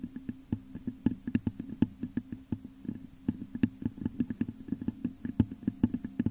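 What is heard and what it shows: Long nails scratch and tap rapidly on the top of a hollow, textured clear glass vase turned upside down over a microphone. Dozens of quick, dry clicks ride over a steady low, hollow resonance, each tap dying out almost at once.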